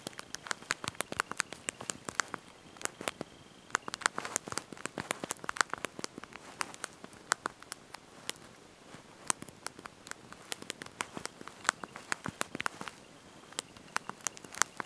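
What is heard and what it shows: Thumbs and fingertips press and tap the small backlit plastic keys of a handheld slide-out mobile phone's QWERTY keyboard while typing a message. The result is a quiet, steady stream of dozens of short, dry plastic clicks with a bright tick centered around 1.4 kHz and almost no low end. The taps come in irregular quick bursts.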